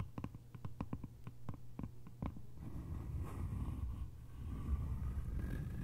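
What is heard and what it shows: Long nails tap the lid of a small, hollow, cylindrical bamboo container, giving eleven quick, dry, hollow clicks over the first few seconds. The tapping then shifts to a soft, continuous scratching on the lid top, with a low, muffled rustle.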